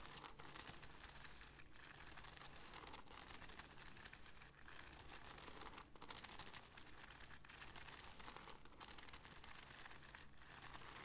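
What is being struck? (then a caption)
Beaded fabric bag. Fingertips and long nails scratch and rub the gold-beaded border of a hollow black cloth bag held by its handle. A steady, dense stream of fine crinkly, clicking scratches fills the clip, bright and crisp on top with a soft low rumble beneath.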